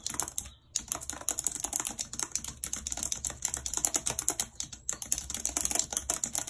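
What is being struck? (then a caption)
Plastic computer keyboard. A white, low-profile plastic wireless keyboard with a full number pad and hollow housing, lying flat on a map-printed surface, is typed on rapidly with long red acrylic nails. A dense stream of bright, sharp clicks and taps with very short decay fills the clip, broken only by brief pauses, with little low-end weight.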